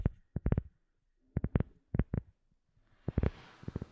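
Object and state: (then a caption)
Rubber sheet. A round, flat black rubber sheet held close up is tapped with long nails and fingertips of both hands. The taps land as short, dull, low thuds in quick bursts of several, separated by brief pauses. The last bursts carry a soft, brighter hiss.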